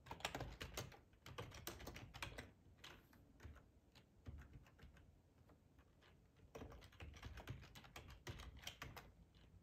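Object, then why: Plastic computer keyboard. Fingertips type at a moderate pace on a hollow black plastic split ergonomic keyboard, tapping the keys. Quick, dry clicks come in bursts over a low thump, with a quieter pause in the middle before the typing picks up again.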